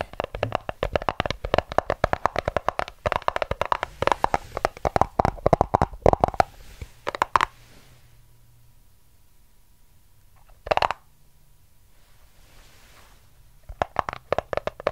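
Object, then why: Small cardboard box. Fingertips and nails rapidly tap and scratch the surface of a small white cardboard product box, likely empty, held in both hands close to the microphone. A dense run of dry, hollow clicks and scrapes fills the first seven seconds, then near silence with a single brief rustling burst, before the quick tapping picks up again at the end.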